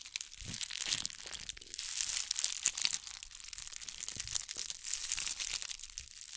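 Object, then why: Ball covered in small glass bugle beads. A ball covered in bugle beads, cupped in both hands, is scratched with long acrylic nails. The result is a steady, bright, crinkly rustle of fine clicks and scrapes with almost no low end, swelling and easing over about six seconds.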